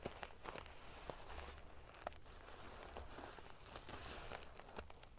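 Long painted fingernails scratch and ruffle the rows of small silver metal sequins sewn onto the fabric of a large decorative pillow. The result is a steady, dense, crinkly scratching with sharp, bright clicks and ticks scattered throughout, over a faint low rumble.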